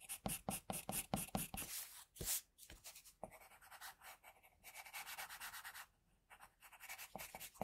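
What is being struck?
Pencil on paper drawing sheet.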